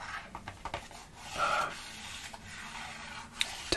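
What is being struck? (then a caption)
Cardboard perfume box. A small, hollow rectangular cardboard perfume box, dark with a silver textured panel, is held in one hand while fingers rub and scratch its printed surface. Dry, papery scratching and rasping sounds are heard, with a louder rub in the middle and a few sharp, brief ticks near the end.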